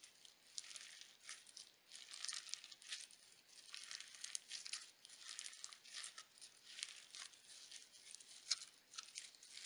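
A palm-sized lump of pale pink crunchy slime packed with iridescent sequins and glitter, a soft solid mass, is squeezed, stretched and pressed by fingertips with glitter-polished nails. It gives quiet, bright crackling crunches in dense clusters of fast snapping bursts. There is almost nothing in the low end.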